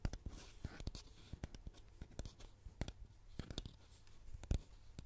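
Long painted nails scratch and tap across the printed label of a medium orange plastic styling cream bottle with a white top, its cap removed and the bottle hollow. Quiet, rapid, dry clicks and short scratchy strokes follow one another with almost no ring, over a low soft rumble.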